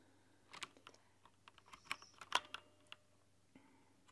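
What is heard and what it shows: Both hands with long dark-polished nails type on a plastic mechanical keyboard with white translucent plastic keycaps and LED lighting, tapping the keys with fingertips and nails. Quick, bright, irregular clicks and clacks come in scattered bursts, each dying away almost instantly against a quiet background.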